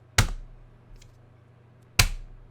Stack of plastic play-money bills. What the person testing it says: here's a soft drop sounds like plastic